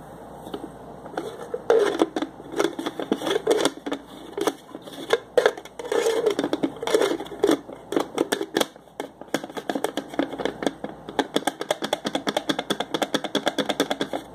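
Fingers twist and turn a red screw-on plastic lid on the threads of a small clear plastic cup, producing a dense run of short, dry plastic clicks and scraping ticks. The clicks come in quick bursts with brief pauses, and they settle into a steady, rapid ratcheting pattern toward the end.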